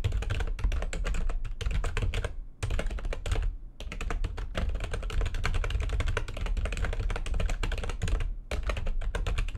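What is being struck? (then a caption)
Plastic computer keyboard. Fast typing with long nails of both hands on a full-size plastic backlit computer keyboard, producing a dense stream of quick clicks and taps over a deep, thumpy low end. Brief pauses break the rapid typing near 2.5, 3.7 and 8.5 seconds.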